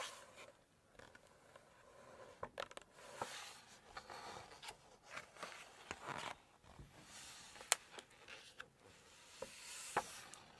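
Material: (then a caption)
Glossy paper. Long nails scratch across the glossy photo page of a large open Chinese cookbook, then flip a page over. Quiet, bright, papery scratching and rubbing is broken by sharp, short taps and crisp snaps.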